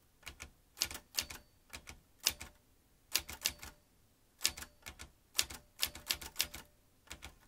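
Fingertips type quickly on the round keys of a vintage metal manual typewriter, producing sharp, bright clacks in uneven bursts separated by short pauses. Each strike is crisp and dies away almost instantly, with little low-end weight.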